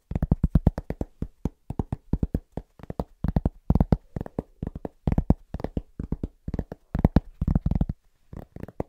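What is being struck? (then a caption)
Thin round cork trivet. Fingertips tap quickly and rhythmically on a large, thin, round cork trivet held at various positions, making about 48 short hits in uneven bursts. Each tap is a dull, low knock centered near 164 Hz with almost no ring, and the hits come in quick clusters separated by brief pauses.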